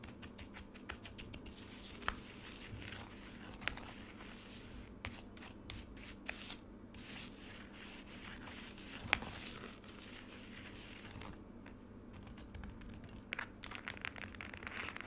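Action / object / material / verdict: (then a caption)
scrape / frozen lemonade slab in a plastic tray, scraped with a metal spoon / ice / none. A metal spoon scrapes across the icy surface of a solid frozen lemonade slab in a black rectangular plastic tray, making a dense, bright, crackly scratching with many sharp ticks. Near the end, fingers reach into the tray and the scraping gives way to softer rubbing and crinkling.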